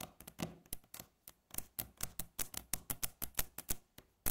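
Long fingernails tap and scratch a solid, flat, light-coloured wooden tabletop, making a quick, irregular run of about twenty sharp taps. Each tap is a short, dry knock with a low body and a bright clicky edge that dies away almost at once, with faint scratchy rasps between them.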